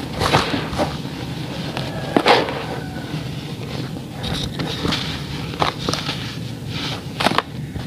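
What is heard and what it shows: Fingertips squeeze and rub small balls of packed grey sand over a basin of loose sand, crumbling each clump so the sand pours down between the fingers. Soft gritty crackles and brief bright crunches rise over a steady low sandy hiss.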